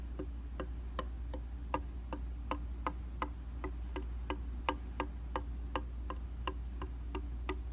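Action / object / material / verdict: tap / glass mirror / glass / none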